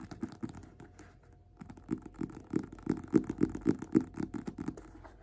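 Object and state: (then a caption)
Paperback book being tapped. Fingertips and nails tap and scratch the paper cover of a small, worn, closed paperback copy of *Invisible Man* held upright in both hands. Soft, papery scratching comes first, then a brief near-silence, then a quick, uneven run of muffled low-mid taps with light bright scratchy edges. The taps grow louder through the middle and fade slightly toward the end.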